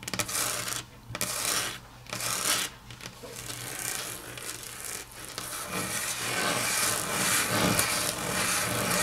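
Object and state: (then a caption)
Nails scratching a laminate tabletop. Long natural nails scratch and tap on a flat, solid grey wood-grain laminate tabletop. Bright, rasping scrapes come in uneven bursts, with light taps mixed in and brief quiet gaps between strokes.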